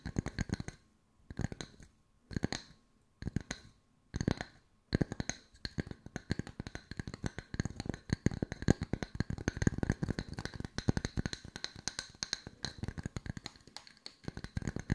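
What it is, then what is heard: Wooden slice coasters. Long white nails tap on the flat cut faces of two small solid round wooden log-slice coasters with bark edges. Short bursts of quick, dry taps come between brief pauses, then settle into continuous rapid tapping. Each tap is a short, woody knock with bright clicky edges and no ring.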